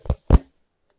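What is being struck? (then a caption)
Hardcover book. A thumb knocks twice on the closed, solid cover of a medium hardcover book with an ornate, decorative patterned printed cover, held in one hand. Each knock is a short, dull, low thud that dies away almost instantly, and the second is louder than the first.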